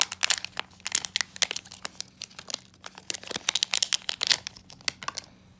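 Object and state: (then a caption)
Foil blind bag being crinkled and torn open. A small, full black metallized plastic foil blind bag holding an enamel pin is held in both hands, then crinkled, squeezed and torn open with the fingertips. Dense, bright crinkling and sharp crackles come in rapid bursts, with a faint low hum running underneath. The sounds fade out near the end as the bag goes quiet.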